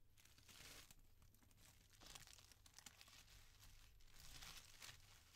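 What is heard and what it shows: Fingertips with painted nails press, rub and crinkle thin, soft white tissue paper with sticker seals as they fold it open from around a folded tee shirt on a table. A continuous dense crinkling rustle with bright, hissy bursts rises and falls throughout, over a steady low hum.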